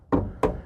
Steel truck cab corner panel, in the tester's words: the rusty metal doesn't quite have the S same sound